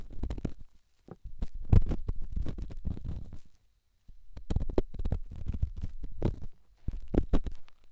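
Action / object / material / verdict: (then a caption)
scrape / rough stone on silicone microphone ear / stone / none. A solid rough rock held in the fingertips is rubbed and scratched against a silicone microphone ear. Dense, crackly scraping comes in bursts with brief pauses, with bright crisp grit over a heavy low rumbling body.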